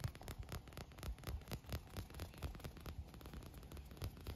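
Fingernails tap and scratch across the printed panel and ribbed tubes of a green translucent, air-filled inflated PVC pool float resting on grass. A steady run of soft, low, hollow thumps mixes with light scratchy brushing, and each tap dies away almost at once.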